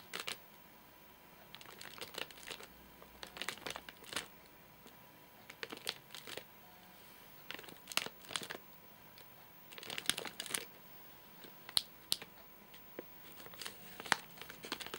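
A single fingertip taps and scratches the top and front edge of a full, flat rectangular Soft Nougat bar in a crinkly plastic wrapper. It makes bright, dry crinkles and short scratchy bursts in irregular clusters, with quiet gaps between and almost no low end. A faint steady tone runs underneath throughout.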